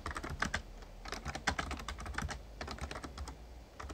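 Rapid two-handed fingertip typing on an RGB-backlit plastic Razer Ornata Chroma membrane gaming keyboard with a hollow casing. Quick, short clacky key taps come in dense clusters over a low rumble, with a brief pause near the end before the typing resumes.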